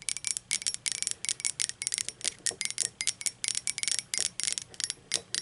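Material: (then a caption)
Ceramic. Long pointed acrylic nails tap quickly on the sides of an upright, hollow, empty blue speckled glazed ceramic mug. About 25 rapid, bright clicks come with a high, glassy ring that dies away almost at once, leaving almost no low end.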